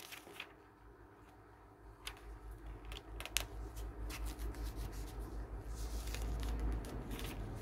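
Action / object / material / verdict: scrape / glossy paper magazine / paper / none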